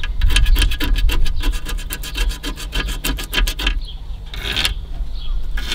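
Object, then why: Foam seal strip on a car radiator. Fingers rub and scratch vigorously along a deteriorated white foam seal strip on the edge of a car radiator, producing a fast run of dry, rasp-like crumbling strokes for about the first three and a half seconds. The scratching then drops to a softer scuffing hiss with one brief bright burst near the end, all over a steady low rumble.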